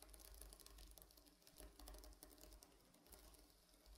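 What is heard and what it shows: Medium-length painted fingernails scratch and brush across a large, flat, soft stuffed pillow covered in reversible blue and silver plastic sequins. The result is a steady, quiet patter of bright, crisp clicks and rustles as the sequins flip, set over a low rumble.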